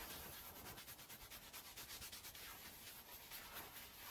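A small green plastic hand brush scrubs in circles over a small, oval, red fringed woven fabric rug lying wet and soapy on the floor. The result is a steady, bright, hissy scrubbing with a quick rhythmic rise and fall as each stroke passes over the fibers.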